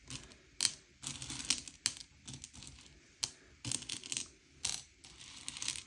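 Fingertips slide and push a pile of small, hard, sugar-shelled M&M's candy-coated chocolates around a grey plate, sorting them by colour. The candies make bright, dry clicks and rattling clatters in short bursts, with a few sharper knocks standing out and very little low end.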